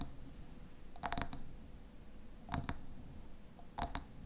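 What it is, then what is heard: Glass jam jar. A medium glass raspberry jam jar with a red paper label and a white lid has its glass sides tapped with fingernails. Short, bright clinks come in three quick clusters over a low, steady background rumble, and each tap dies away almost at once.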